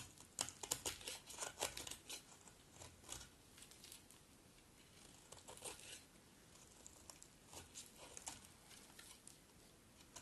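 A metal utility blade scrapes and cuts dry flakes from a partly carved, solid red bar of dry soap held in the hand. The result is a run of crisp, bright crackling scrapes that are dense and loud over the first few seconds, softer and sparser in the middle, then return in quick bursts toward the end, with no low rumble underneath.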